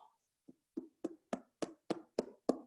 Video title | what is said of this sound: AUTOLISE - mão na massa | É um som oco, é um som de uma madeira oca, ó. Quando ele tiver com esse som, é que ele tá assado.